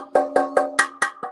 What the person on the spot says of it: if they sound hollow well they're clear but most of the time they're clogged up